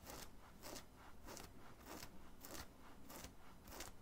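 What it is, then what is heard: Cotton t-shirt scratched with nails. A hand scratches the chest of a worn black printed cotton graphic t-shirt with its nails in repeated strokes. Each stroke makes a soft, bright, raspy scrape, repeating at a steady rhythm over a low, quiet rumble.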